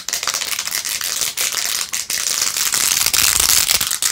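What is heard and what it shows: Long acrylic nails fast-scratch across rows of pink plastic pearl beads glued onto a handheld rose-gold-edged plastic phone case. The result is a dense, bright, crackly scratching with rapid clicky ticks, almost entirely high in pitch and with very little low end. It runs steadily with a few brief dips in loudness.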